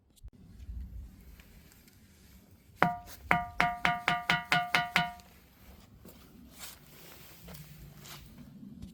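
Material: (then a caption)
Granite. A granite rock in front of the Maitreya hall at Maneosa temple is struck, and it rings like a bell. There are nine quick, sharp strikes, each a clear metallic tone around 715 Hz with bright overtones that fades fast. Faint background noise surrounds the strikes.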